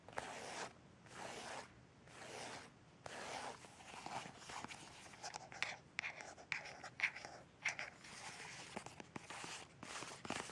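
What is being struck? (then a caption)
Folded paper leaflet. Fingertips and nails flick and scratch across the pages of a thin, folded paper instruction leaflet with dense printed text, held in the hand. Quiet, airy, bright scratching strokes come in separate swishes at first, then turn into quicker, crisp papery flicks and light taps.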